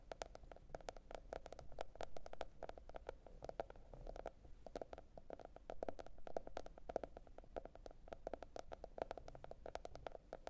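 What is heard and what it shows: A teal printed cardboard hardcover notebook is tapped and scratched with long red nails. Rapid, dry, quick-decaying taps with bright clicky edges and a hollow tone around 656 Hz run steadily over a soft low rumble for about ten seconds.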